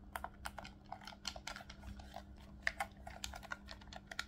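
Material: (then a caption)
Plastic. A hollow, black plastic Nintendo Switch Pro controller is held in both hands while fingertips click its triggers and shoulder buttons, and it is then turned to show its face. About two dozen quick, sharp plastic clicks come in an uneven, rapid run, each with a bright snap that dies away almost instantly. A steady low hum sits underneath.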